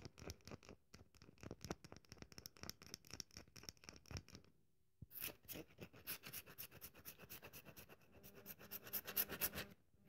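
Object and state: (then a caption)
Dry bar of soap. A solid, dry bar of soap held in the hand has its surface scratched with long nails, making rapid, dry, bright scratching and crackling ticks. After a brief quiet pause near the middle, the scratching resumes denser and louder, building to sharper, brighter scrapes toward the end.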